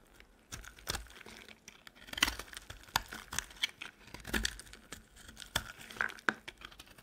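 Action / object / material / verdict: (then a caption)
scrape / soap bar scraped with a metal blade / soap / none. A metal utility knife blade scrapes and carves flakes off a solid, dry, white oval soap bar held in the hand. It makes a series of dry, crisp scraping and crunching strokes, bright and papery with very little low end, each cut stopping short with no ring.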